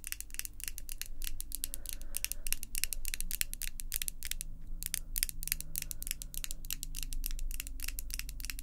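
Long, glossy pink artificial acrylic or gel nails, hard and thin, are tapped against the nails of the other hand in fast, repeated tapping. The result is a dense run of crisp, bright clicks, each very short with almost no ring, over a steady low hum.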